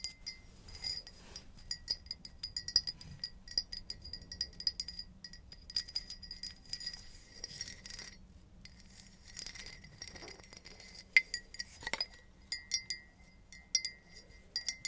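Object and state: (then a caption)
Empty ceramic mug. Long nails tap and clink on an empty, hollow black patterned ceramic mug. Rapid, irregular bright clicks carry a clear ringing tone around 2 kHz that dies away almost at once, over a quiet low background.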